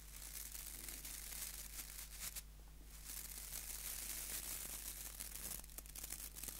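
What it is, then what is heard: Wooden nail brush with plastic bristles. Fingertips rub and scratch across the white plastic bristle tips of a small, solid wooden nail brush. The result is a quiet, dense, bright crackling and rasping over a steady low hum, with a brief softer pause partway through.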